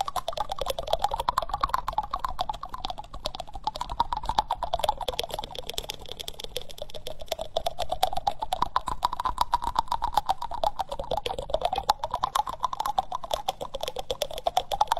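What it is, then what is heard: Wooden spoon. Fingertips and nails tap and scratch the bowl of a solid, reddish-brown wooden spoon held close to the microphone. Dense, fast clicky taps mingle with scratchy rustling, under a mid-range tone that slowly rises and falls.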